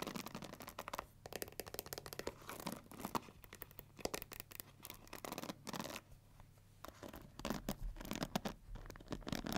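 Long nails scratch across the black pins and the plastic handle of a pink plastic paddle hair brush. The result is a quiet, dense run of quick, dry scratches and ticks with bright, crisp edges, pausing briefly twice before picking back up.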